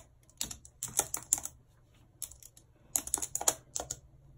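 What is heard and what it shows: Long red acrylic nails type rapidly on the hollow keys of a full-size white plastic computer keyboard with a numpad, lying on a world map. Bright, sharp clicks and clacks come in quick, irregular bursts with short pauses between them. Each tap dies away almost instantly over a faint low background hum.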